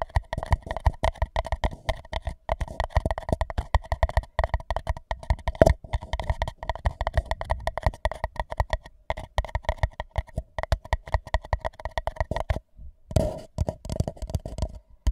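An empty white paper cup held over the microphone is tapped on its bottom and sides with fingertips. Dozens of quick, dry taps come in dense runs, each a short hollow thump with a steady resonant tone in the mid range and almost no ring. There is a brief pause near the end before the tapping resumes.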